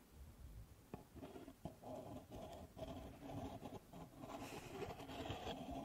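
Long nails scratch and rub the walls of a stack of empty pink paper cups held sideways. The result is a quiet, papery scratching and rustling with a few sharp clicks early on, growing slightly louder and brighter toward the end.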